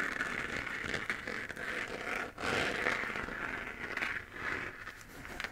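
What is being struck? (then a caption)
3D-printed plastic moon lamp sphere. Fingernails scratch around the edge of a hollow, textured 3D-printed plastic moon-lamp sphere glowing white. The result is a steady, dry, crackly scraping with a bright rasp centered near 2 kHz, with a brief pause just past two seconds before the scratching resumes.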